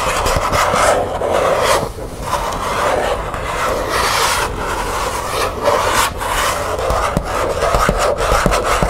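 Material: Plastic.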